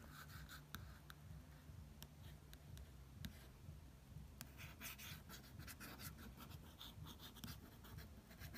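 A fingertip traces and lightly taps the cover image of a National Geographic "Bahamas Blue Holes" issue with a thin glossy paper cover. The result is a quiet, steady, soft scratchy swishing with faint, brief tapping clicks scattered throughout.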